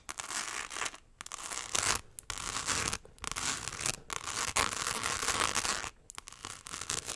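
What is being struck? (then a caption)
Small clutch purse covered in rhinestones. A small, hollow rectangular clutch purse covered in tiny rhinestones is held close to the mic and scratched with long acrylic nails. Fast, bright, gritty scratching comes in several bursts separated by brief pauses.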